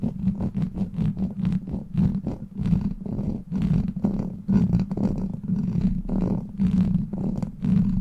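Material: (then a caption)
Steel mesh. Long black plastic claw nails grip and scratch a hollow steel mesh microphone grille. Rapid, continuous scratching and rasping bursts come through as a dense, muffled rumble concentrated in the low end, with a steady low tone running underneath.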